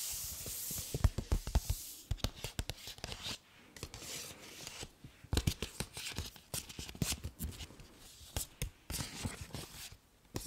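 A hollow, medium blue paper gift bag with ribbon handles is scratched and tapped with long nails and handled by its handles. Quick, dry taps and crisp, bright papery scratching come in uneven bursts, with soft rustling and crinkling between them. Each tap dies away almost instantly.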